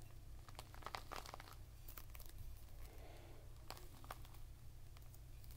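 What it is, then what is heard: Whole pomegranate. A whole, full, fist-sized red pomegranate with a leathery rind is cupped in both hands and rubbed and scratched with the fingertips and short nails. Quiet dry crinkling and scratchy rasps come in short, bright bursts over a steady low hum.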